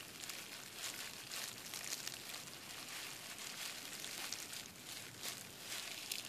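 Fingertips tap and scratch the air-filled bubbles of a clear plastic bubble wrap sheet resting on a desk. The result is a steady, quiet, bright crinkling and scratching texture with almost no low end, dotted with small sharper taps.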